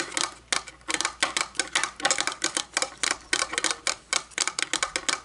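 Long painted fingernails tap on top of a round, shiny, hollow metal candle lid, about 9 cm across, lying on a wooden table. About 26 quick, bright clicking taps come in uneven bursts, each with a short, light metallic ring.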